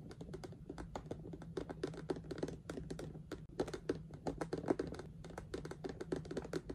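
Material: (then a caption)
Plastic. Fingertips and long nails, through knitted fingerless gloves, tap rapidly on a medium clear plastic storage box with rhinestone "Spooky Sparkles" stickers, full of ribbon spools and with no lid. The taps are short, dry clicks with a hollow body around 355 Hz and almost no ring, over a faint steady low hum.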